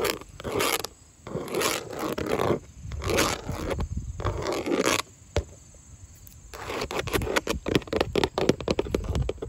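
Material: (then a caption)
Vinyl. Long nails scratch across grey textured vinyl siding with hollow lap panels, making rasping, papery scrapes in bursts over the first five seconds. After a brief quiet pause, the nails switch to rapid, dry tapping on the hollow panels, with a faint steady high whine underneath.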